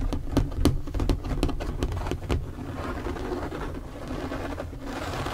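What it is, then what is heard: Empty plastic storage box. Fingertips and nails tap rapidly on the flat top of an empty, hollow, translucent plastic storage box lying on a table. The taps give sharp, clicky strikes over a low, hollow resonance, then settle into a softer, continuous patter toward the end.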